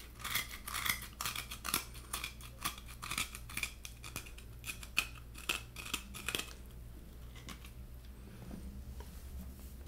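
Fingernails tap and scratch the white flesh inside a halved coconut's hollow shell, making quick, irregular, bright, crisp scrapes and clicks. After about six and a half seconds the scratching stops, leaving only a few faint taps over a steady low hum.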